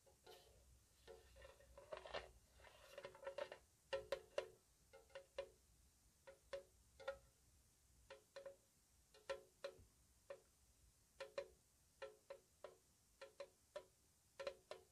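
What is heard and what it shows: A small, square, hollow metal tea tin, painted white with its lid on, is tapped with long nails. The tapping is slow and soft, with short, bright clicks that carry a brief ring around 580 Hz. The taps start in a dense cluster, then settle into a steady, spaced rhythm.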